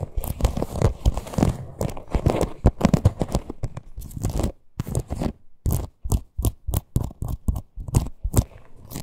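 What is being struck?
Small faux leather purse with stitched appliqué.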